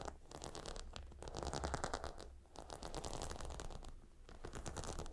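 Long nails scratch across the stone tiles and leather edge of a cylindrical gemstone hot stone pillow. Dense, rapid, crackly scratching rides over a low rumble, swelling and easing in waves with brief dips around the middle and near the end.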